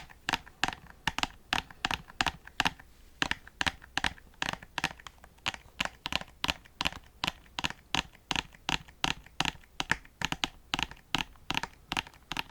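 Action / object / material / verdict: tap / plastic game disc case / hard plastic / cracked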